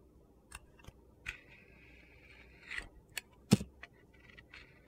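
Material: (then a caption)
Soap. A steel box-cutter blade shaves and cuts thin slices off a solid rectangular bar of soap with orange glitter on its surface, held in the hand. Short crisp scraping cuts alternate with a longer steady scrape that carries a thin hiss near 2 kHz, ending in a sharper, louder cut and a few lighter scrapes. The result is a quiet, dry, gritty carving sound.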